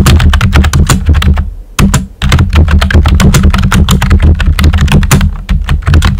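Fingertips with short nails type rapidly on a pink and white plastic computer keyboard with round, typewriter-style hollow keycaps. The result is a dense run of clacky keystrokes with a deep, hollow low thump under bright clicks. A brief pause comes just before the two-second mark, then the typing resumes.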